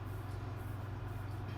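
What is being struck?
Nothing is struck.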